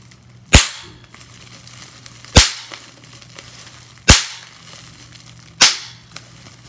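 A clear plastic bubble wrap sheet has its bubbles pinched and popped by long-nailed fingers. Four sharp, bright pops ring out at uneven intervals, with soft plastic crinkling and faint clicks in between. A steady low hum runs underneath.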